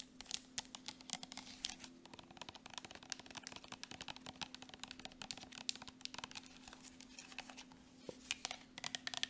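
Long nails tap and scratch quickly over the surface and cap of a partly full, soft plastic Jergens Natural Glow lotion tube. The result is a fast, dense run of bright, dry clicks with scratchy rustles between them and almost no ring. A faint steady low hum runs underneath.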